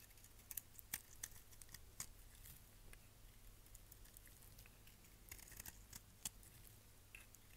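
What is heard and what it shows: A solid, dry, red-and-pink striped bar of soap is held in hand and shaved with a utility knife blade, peeling off pink curls. Quiet, crisp scraping carries sharp, bright clicks and snaps at irregular intervals over a steady low hum.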